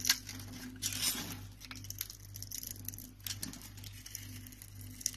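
A solid pale green rectangular bar of soap, pre-scored and held in the palm, is cut and scraped with a utility knife into small cubes. Crisp, bright scraping and crumbling ticks rise over a steady low hum, with a few sharper snaps as the pieces break away.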